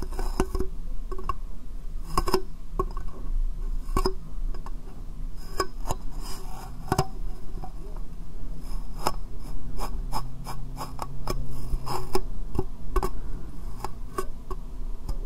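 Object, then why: Small clear plastic box. A small, hollow, empty clear plastic box sits upside down over the microphone and is tapped with fingernails. Sharp, bright clicks land irregularly over a steady low, hollow rumble, with some taps sounding slightly scratchy, and each one dies away almost at once.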